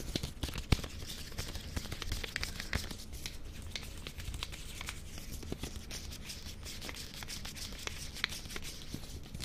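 An unopened small, solid Reptar chocolate bar in a colorful green and yellow plastic wrapper is held in both hands while fingertips and long nails crinkle and rub the wrapper. Steady, dense crinkling and crackling runs throughout with bright rustle over a soft low rumble, and a few sharper snaps stand out near the start and near the end.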